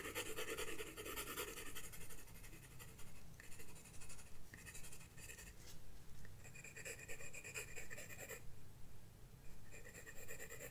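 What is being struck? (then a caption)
Graphite pencil on a paper sketchbook page. A graphite pencil scratches strokes across a flat paper sketchbook page. Bursts of dry, bright scratching come and go in short runs with brief pauses between them, over a quiet, steady low rumble.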